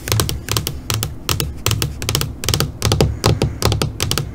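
Long fingernails tap on a flat black LCD computer monitor screen, first with one hand and then with both hands. The result is quick bursts of sharp, bright clicks over a soft low thump, coming in uneven clusters at a brisk pace, each click dying away almost at once.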